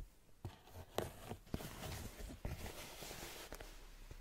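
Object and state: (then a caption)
Rubber sneaker sole. Long nails and fingertips scratch the brown patterned rubber sole and sidewall of a white canvas high-top sneaker. A quiet, continuous scraping hiss grows brighter midway, punctuated by five short, sharp clicks that fade almost immediately.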